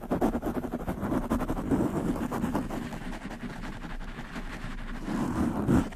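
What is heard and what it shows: Long nails scratch quickly across the sides and top of a black foam windscreen on a desktop microphone. The result is a dense, uneven, muffled scratching rustle with a boomy low-mid body and little bright content, swelling louder near the start and end.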